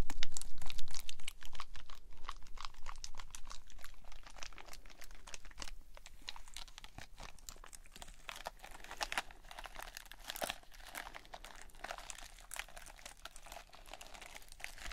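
A hand-sized squishy stress ball of red gel beads in a white net mesh is squeezed in both hands with long nails. Quick, dense crinkling and squelching crackles pile up steadily, loudest at the start and then settling into a quieter, continuous stream.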